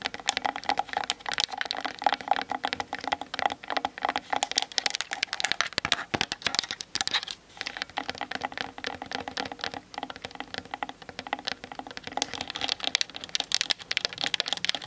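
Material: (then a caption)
Plastic. Long nails tap rapidly on the sides and top of a plastic-bodied Canon DSLR camera standing on a tripod. The result is a dense, continuous stream of short, bright clicks that die away almost instantly, with very little low end and a light hollow tone around 800 Hz.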